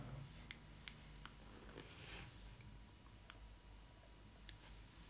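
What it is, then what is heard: Cardboard box tapped with nails. Long red nails tap and scratch the flat printed back panel of a cardboard Disney Ily 4ever Stitch doll box. Six light, sharp taps stand out at uneven intervals, with soft scratching between them. A steady low hum runs underneath at a quiet level.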